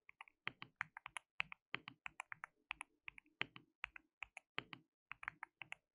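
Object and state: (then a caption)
Mechanical keyboard with plastic keycaps. Fingertips of both hands type continuously on a white mechanical keyboard with plastic keycaps, producing about 33 quick, distinct keystrokes. Each is a bright, sharp plastic click that dies away almost instantly, with little low-end thump, in a steady, fairly quiet rhythm.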